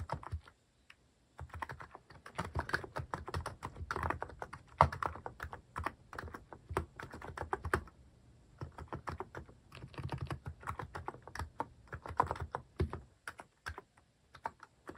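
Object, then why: Plastic mechanical keyboard. Fingertips type repeatedly on a cream plastic-case mechanical keyboard fitted with cat and paw-shaped plastic keycaps. Rapid runs of short, clacky keystrokes with a muted low thump under each press are broken by brief pauses. Each key click dies away almost instantly.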